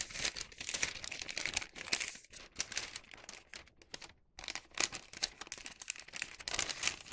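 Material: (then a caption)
Wax paper. A hollow bag made of thin wax paper is creased and flattened with fingertips and palms, giving off dense, bright crinkling and crackling in quick bursts. There are brief quiet pauses between the handling, and almost no low end.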